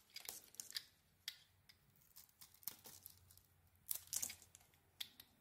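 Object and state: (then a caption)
Bar soap being carved. A metal blade carves curls off the surface of a hand-sized, solid blue embossed bar of soap with a white core. Quiet, bright scraping and crisp crackling come in a series of short bursts, with a faint low hum underneath.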